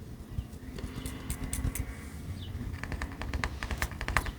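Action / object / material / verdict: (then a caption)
tap / ceramic pottery shards / ceramic / none. A fingertip taps lightly on rare pieces of beach-found ceramic pottery, including one hand-painted shard made in Japan, laid out in a pattern. A quick series of short, bright clicks sits over a steady low rumble in the background.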